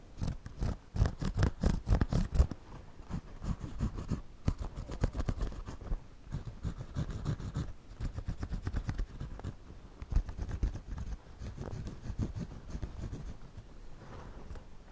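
A pencil draws lines across the front brim of a white, wide-brim woven straw floppy hat being worn on the head, making a scratchy writing sound. Dense, rapid strokes rasp against the weave with a heavy, low-weighted texture, loudest and most vigorous in the first couple of seconds. The scratching then continues more softly and steadily.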